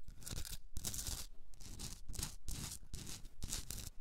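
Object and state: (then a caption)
Himalayan salt candle holder being scratched. Long red nails scratch the top rim and sides of a hand-sized pink Himalayan rock salt candle holder with a hollowed top. The result is repeated bursts of dry, bright, raspy scratching separated by short pauses, with a soft low rumble underneath.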